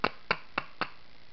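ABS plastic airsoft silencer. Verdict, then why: Hollow. Four quick taps on the ABS plastic silencer of an MK23 airsoft replica give short, dry clicks with a light, hollow ring. The silencer sounds hollow because there is nothing inside it but the barrel, serving only as a barrel extension.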